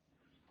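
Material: Paper.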